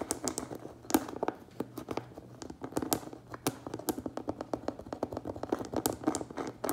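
A closed cardboard Priority Mail shipping box lies flat while the fingertips and nails of both hands quickly tap and scratch its front face. The result is a steady stream of short, dry, hollow taps centered in the low-mids, with bright clicks from the nails and soft scraping between them. Each tap dies away almost at once.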